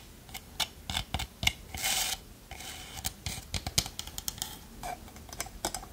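Long nails tap and scratch a small hollow wooden pot with a lid. Crisp, bright clicks fall in an irregular quick series with almost no ring, broken by short rasping scratches across the wood.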